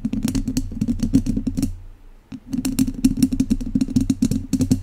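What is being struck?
Metal wire-mesh microphone grille scratched with wooden chopsticks.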